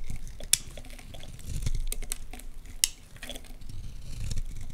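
A utility knife blade scrapes flakes off a solid, partly carved orange Lux bar soap held in the hands. Soft, crumbly scraping runs throughout over a low, muffled rumble, broken by a couple of sharp, bright ticks as the blade catches and cuts.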